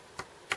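A young bamboo culm is struck twice, giving two short, dull taps that die away almost at once. The dull sound marks the bamboo as young.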